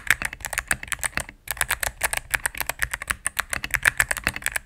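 Rapid key presses on a cream full-size mechanical keyboard with plastic keycaps on a solid plastic case, typed with fingertips and medium-length nails. A quick stream of short, crisp clacks with a bright click around 1.8 kHz and little low end pauses briefly near the middle before the typing resumes.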